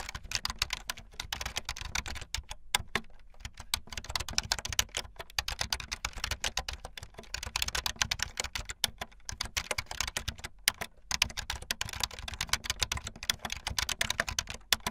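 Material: Plastic.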